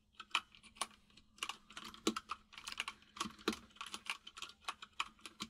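Fingertips of both hands type on a full-size mechanical keyboard with white and grey plastic keycaps and a hollow case, producing about 25 quick, bright clacks with very short decay. A faint steady low hum sits under the irregular run of key taps.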